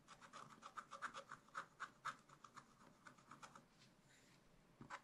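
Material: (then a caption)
Coated paper. A wooden stylus scratches short fur lines into a raccoon drawing on black wax-coated scratch-art paper in a spiral-bound pad. About twenty quick, dry, rasping strokes come in an uneven rhythm, each with a bright scraping edge. The strokes briefly pause before the last few at the end, and the overall level is quiet.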